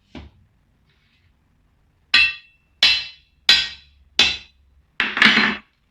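Knocking on a hardwood floor that is damaged and rotten from water. A faint tap is followed by a series of sharp, bright, dry knocks with short decays, the last one longer and rougher. The knocks sound hollow and dull rather than solid.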